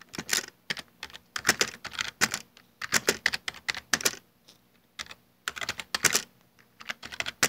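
Fingertips type continuously on a full-size black plastic Dell desktop keyboard with hollow keycaps. Bright, short clicky key strikes come in uneven bursts with brief pauses, and each tap dies away almost at once.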